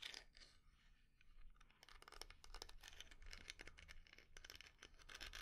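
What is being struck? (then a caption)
Small lidded wooden jar. Long nails scratch and tap the carved, inlaid lid and sides of a small, round, dark-red wooden jar that is hollow and closed. Quick dry taps are mixed with bright, scratchy rasps, each dying away almost at once over a faint low rumble.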